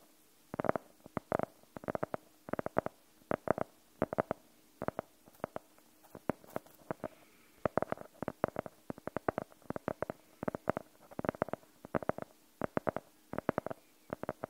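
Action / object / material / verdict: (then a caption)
tap / faux-leather hardcover notebook / faux leather / none. Fingernails tap and scratch on the cover of a navy blue faux-leather hardcover notebook with white page edges showing. Quick clusters of short, dry, mid-pitched clicks come in uneven bursts with almost no ring, over a quiet background with a faint steady hum.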